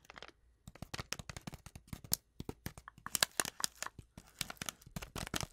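Long acrylic nails quickly tap and scratch a small, flat, sealed Twinings tea packet made of foil-lined paper and still full with its tea bag. A rapid run of sharp, crisp clicks and crinkly scratches comes through, bright and papery with almost no ring after each hit.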